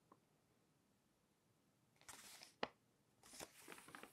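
Thin pages of a glossy paper magazine are pinched and flipped by hand and slid against each other. After a near-silent start with a faint tick, a bright papery rustle rises, followed by one sharp crisp snap of a page. A longer stretch of dry, high sliding crinkles follows.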